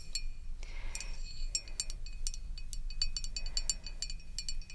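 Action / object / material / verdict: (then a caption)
tap / glass bottle / glass / none. Long red acrylic nails tap along the side and label of a tall green glass bottle of crème de menthe, held upright and partly full of liquid. A quick series of bright, glassy clicks and clinks sounds, each dying away almost at once, over a low, steady rumble.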